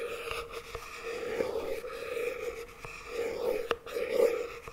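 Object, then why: Small plastic tub lid tapped with a wooden chopstick. A small round plastic tub of NOVI chocolate spread, apparently full and sealed, lies on its side in one hand while the tip of a wooden chopstick taps and scratches its lid. Soft, continuous scratching carries a resonant hum around 460 Hz, broken by a few sharp, quick taps that die away almost at once.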